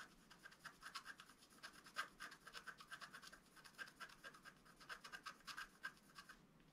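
A wooden stylus scratches near the bottom edge of a flat, black-coated scratch art paper card, about A4 size, lying on a table. It makes a rapid series of short, dry scratching strokes, with a rasp centered around 1.6 kHz and bright high hiss. The strokes pulse unevenly over nearly seven seconds and end abruptly.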